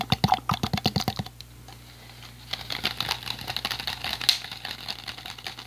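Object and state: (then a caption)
Empty plastic water bottle. An empty, hollow, clear PET plastic water bottle with a blue cap is tapped with fingertips and squeezed by hands. A quick run of sharp, bright taps comes first, then a short quiet pause. Softer crinkling taps and squeezes follow, with one louder click near the end, over a faint steady low hum.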